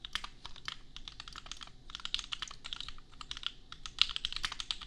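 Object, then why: Plastic mechanical keyboard. Fingertips type steadily for five seconds on a compact $250 custom plastic mechanical keyboard with Gateron Milky Yellow switches and red and pink plastic keycaps. Each keystroke is a short, bright clack that stops almost instantly, and one key strike near the end lands noticeably louder than the rest.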